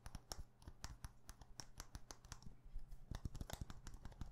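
A small clear glass perfume bottle with a glass stopper is held in the hand and tapped fast with long painted nails. The result is a quiet, rapid run of short, dry clicks with bright tick tops over a soft low thump, each dying away at once with no ring. The tapping grows denser and slightly louder in a burst near the end.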